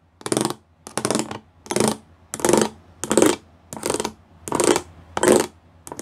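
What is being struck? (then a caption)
Plastic panel with raised pyramid studs. Fingertips and nails tap across the rows of small square pyramid studs on a flat grey plastic sheet. The result is a series of short bursts of dry, bright plastic clicking and scratching, each burst about a third of a second long, repeating at a loose, uneven rhythm with quiet gaps between them.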